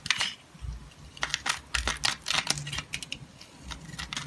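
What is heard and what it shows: A green utility knife blade slices and scrapes slivers off the surface of a solid rectangular black soap bar held in the hand. The result is a rapid series of crisp, bright scraping and crackling ticks with very short decay and faint low rumble underneath.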